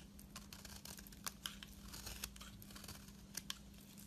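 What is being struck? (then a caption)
Bar of soap scraped with a metal blade. A metal blade scrapes along the surface of a solid lilac soap bar held in the hand, peeling off long thin shavings. The result is a quiet, continuous crisp crackling with bright, sharp ticks and a few louder snaps. A faint steady low hum runs underneath.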